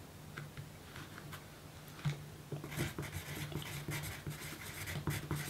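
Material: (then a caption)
Paper. A pencil's graphite tip writes steadily on a small, thin pink paper note card resting on a table. Soft, dry scratching strokes come in uneven bursts, growing denser and brighter in the second half over a faint low hum.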